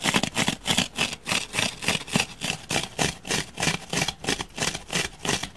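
Fingernails and fingertips scratch and gouge the surface of a palm-sized solid grey foam block. The result is a steady run of rapid, rhythmic rasping strokes, about three per second, each a bright, hissy scrape with a softer low rub beneath.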